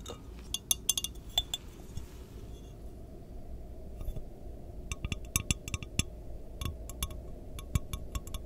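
Long nails tap and clink on the walls of an empty, lidless, clear glass measuring jar with measurement markings, held hollow in both hands. Short, bright glassy clinks come in irregular clusters over a steady low rumble, each dying away almost instantly.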